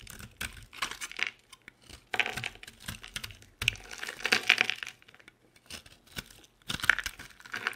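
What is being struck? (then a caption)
Bar of soap cut with a blade. A utility knife blade scrapes and carves the edge of a hand-sized, solid, oval yellow bar of dry soap with holes, producing crumbly shavings. Bursts of crisp, bright scraping and crackling come in uneven clusters with short silent gaps between them.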